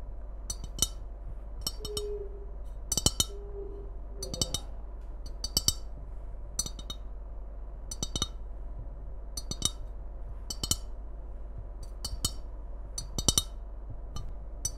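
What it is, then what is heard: Ceramic mug tapped with fingernails. Long red acrylic nails tap and scratch the outer wall of a hollow white ceramic Christmas mug with a red print, held upright in both hands. Quick, bright clicking taps come in small clusters and die away almost instantly. Brief soft scraping tones appear near the start, all over a faint steady low hum.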